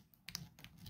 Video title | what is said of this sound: Shotgun Reloading - What is a HULL BASE | if you scratch the plastic one nothing and it sounds different